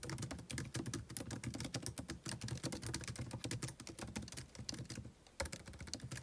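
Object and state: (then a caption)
Laptop keyboard with plastic keys. Fingertips type continuously on a MacBook Pro laptop keyboard with white plastic keys set in an aluminum body. Rapid, dry clicks and taps blend with low thumps and bright, short key clatter. A brief pause comes just past the five-second mark before the typing resumes.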